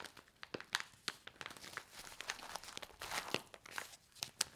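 Hands with long nails bend, squeeze and riffle a handheld stack of small, flat, laminated paper-foil instant soup sachets filled with dry soup powder. The result is a steady run of bright, crisp crinkles and sharp crackling snaps with very little low end.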